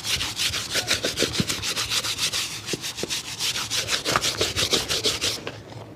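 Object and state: Leather shoe being brushed.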